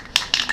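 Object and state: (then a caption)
Aerosol can with mixing ball rattling. A metal Neverwet aerosol spray can is shaken before spraying, and its loose metal mixing ball rattles inside as the contents are stirred up. Three quick, bright, clicking rattles peak around 3.6 kHz with almost no low end and fade fast. The rattle is normal and shows the can is ready to spray.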